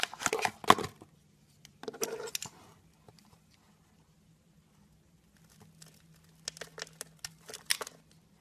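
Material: Soap.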